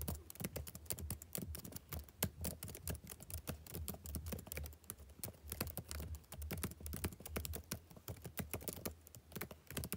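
Fingertips type steadily on the black plastic keys of a backlit laptop keyboard, producing a rapid, continuous stream of short, crisp clicks and taps. A faint, steady low hum sits underneath the typing throughout.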